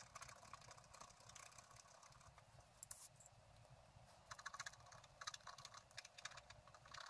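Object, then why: Coated scratch art paper scratched with a wooden stylus. A wooden stylus held in the fingers scratches the black coating of a thin, flat scratch art paper sheet taped over a paper underlay, revealing the colours underneath. Quiet, bright, dry scratching and tapping strokes come in uneven bursts, with a sharper flurry near three seconds and denser clusters toward the end.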